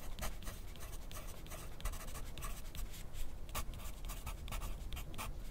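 A wooden graphite pencil held in the fingers scratches across a thin sheet of lined white paper clipped to a white plastic clipboard lying flat on a desk, in steady writing strokes. Short, bright, papery scratches come in a quick irregular rhythm over a constant low rumble.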